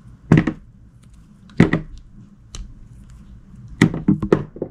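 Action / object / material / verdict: scrape / glycerin soap bar cut with a knife blade / glycerin soap / none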